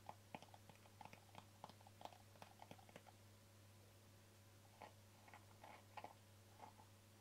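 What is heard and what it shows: Fingertips and nails tap the top and rim of a small, hollow white plastic jar with an embossed screw lid and a green label. A quick run of short, dry, clicky taps fills the first three seconds, then a pause, then a sparser second run near the end, all over a steady low hum.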